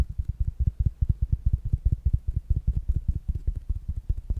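A small, rounded black smart speaker with a fabric mesh cover is tapped quickly with fingertips and nails. The taps land as a rapid, uneven run of soft, dull, low thumps that stop almost instantly, with no bright click or ring.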